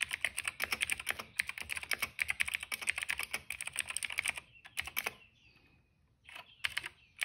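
Fast two-handed fingertip typing on a cream plastic mechanical keyboard produces a dense run of sharp, bright clicky keystrokes centered around 2 kHz. The clatter continues steadily for about four and a half seconds, thins to a few scattered presses with a brief pause, then picks up again in short bursts near the end.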